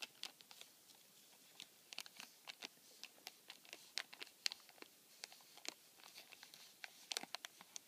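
Fingertips rub, scratch and crinkle the clear plastic film window over the slot opening of a flattened, empty cardboard tissue box. A quiet, bright, dry crackling of sharp, short ticks and crinkles comes in irregular bursts, with almost no low end and no ring after each sound.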